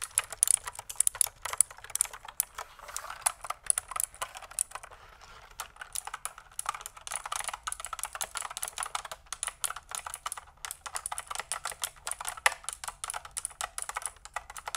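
Fingertips and nails type on a pink mechanical keyboard with pink and white plastic keycaps and a hollow plastic case, held tilted. Rapid, dense runs of short, bright plastic clicks and clacks fill the clip, with a brief lighter lull near the five-second mark before the fast typing resumes.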